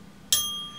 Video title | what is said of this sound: Магнитострикция | Если ударить по стержню, он звенит, — и этот звон слышно довольно долго. Это означает, что у стержня имеются собственные колебания с весьма малым коэффициентом затухания